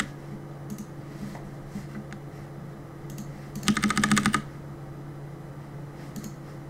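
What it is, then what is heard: Plastic mechanical keyboard. Fingertips tap the plastic keycaps of a black mechanical keyboard, giving sparse, scattered clicks over a steady low hum. Partway through, a quick, dense flurry of bright, clacking keystrokes rises clearly louder for about half a second before the sparse tapping resumes.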